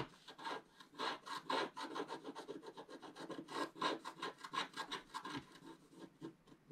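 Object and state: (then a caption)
Scratch-art paper being scraped. A wooden stylus scratches the black wax coating at the upper right of a scratch-art paper page, held down by the left hand, revealing orange color underneath. It makes a rapid series of short, dry scratching strokes with a faint whistling tone near 1 kHz, and almost no low end.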